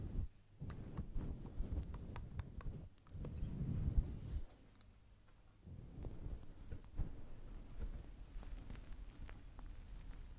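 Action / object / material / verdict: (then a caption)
scrape / faux fur microphone windscreen / faux fur / none. Long blue nails scratch and rub over a fist-sized grey-white faux fur microphone windscreen, producing dense, deep rumbling and crackling scrapes. Short bright clicks stand out, and the rubbing drops to near quiet for about a second before building back up.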